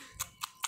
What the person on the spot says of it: kalau dianukan ke lantai itu suaranya tek tek tek tek tek tek gini. Terus beda sama kayu.